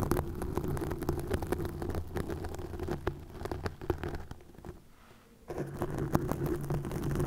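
Long nails scratch and grip green plastic mesh netting stretched over a microphone, making dense, close crackling and rustling over a steady low, buzzing rumble. The scratching stops briefly for about a second near the end, then resumes just as busily.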